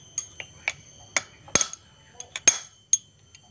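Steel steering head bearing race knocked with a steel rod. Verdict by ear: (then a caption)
Seated. A steel rod knocks the lower steel steering head bearing race on a motorcycle down into place, giving a series of sharp, bright metallic taps with a short, high ring. The hard, solid sound shows the race has bottomed out and is fully seated.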